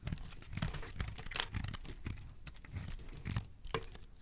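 A metal utility-knife blade shaves and scrapes curls off the edges of a solid, translucent, hand-sized purple soap bar held in one hand with dark-painted nails. Quick, dry scratching strokes crackle and crinkle over a soft low rumble, with sharp bright scrapes standing out now and then.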